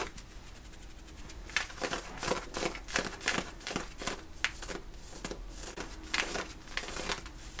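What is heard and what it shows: Fingernails scratch vigorously at the woven cotton fabric around the back pocket of worn, light-blue denim jeans. The result is a series of quick, irregular rasping strokes, each a dry, bright, broadband scrape that ends almost instantly, over a faint steady low rumble.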